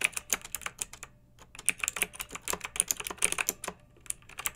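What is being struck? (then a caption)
Plastic mechanical keyboard keys. Long-nailed fingertips type on a pink mechanical keyboard with round retro plastic keycaps and a blue backlight, resting on a fluffy rug. The result is bursts of quick, bright, clicky plastic key taps with almost no low end, each tap dying away instantly. The bursts are separated by short quiet pauses.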